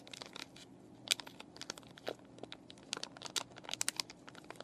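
Fingernails scratch a clear plastic and cardboard paintbrush package with the brushes still inside, while fingers crinkle the plastic. The result is a rapid series of sharp, bright crackles and crinkles with dry scratching between them, and almost no low end.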